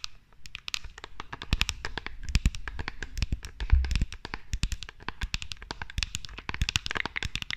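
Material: Rhinestones, glass.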